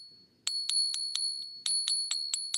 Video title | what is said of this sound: 404 Days Since The Oregon State Police and Lake County Oregon Sheriff's Department SWAT Raid | Isn't that beautiful sounding? There's nothing like the sound of silver, huh? It's very unique.